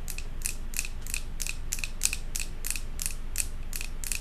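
Long acrylic nails tap fast on the glass side of a large glass jar candle filled with solid white wax and topped with a silver metal lid. Quick, bright clicks repeat at a steady, rapid pace of about three per second, each decaying almost instantly. A low, constant rumble stays underneath throughout.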